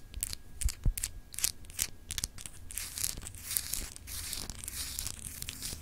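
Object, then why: Small clear glass globe paperweight with etched surface. Long acrylic nail tips scratch across a small solid clear glass globe paperweight with etched continents. The result is a run of bright, dry scratching and crackling strokes that start as quick separate bursts and blur into a steadier rasp, over a faint low rumble.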